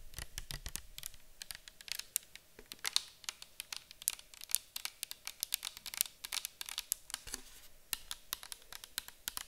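Long acrylic nails tap rapidly on a clear plastic micellar water bottle full of liquid, held in the hands and tilted. The taps are quick, bright, dry clicks with almost no ring, layered over a faint steady hum.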